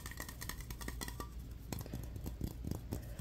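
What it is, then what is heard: Aluminum aerosol can tapped and scratched. Fingernails rapidly tap and scratch the printed metal body of a pressurized Adidas aluminum aerosol deodorant can, a hollow metal cylinder. The result is a quiet, steady patter of short, dull clicks with little ring, over a low hum near 98 Hz and thin bright scratchy streaks.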